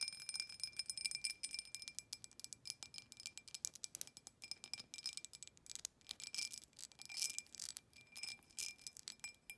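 Long nails rapidly tap and scratch the outside wall of a clear, hollow, empty embossed glass tumbler held in the hand. The result is a dense stream of quick, bright clicks and scrapes, with faint glassy ringing tones high in pitch that die away almost at once.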